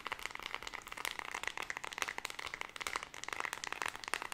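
Long red nails rapidly tap and click the colored rubber buttons of a small white plastic LED remote control and scratch across its plastic body. The result is a dense, fast stream of sharp, dry, bright clicks and scrapes centered in the upper mids, with almost no low end and no ring after each hit.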